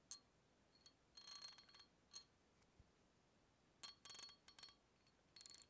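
A hollow brown glass beer bottle, held horizontally near the microphone, has its neck repeatedly tapped with a small metal tool held in the fingers. The taps make quiet, bright, bell-like clinks with a high ringing tone that dies away quickly. They come in irregular bursts and clusters separated by short silences.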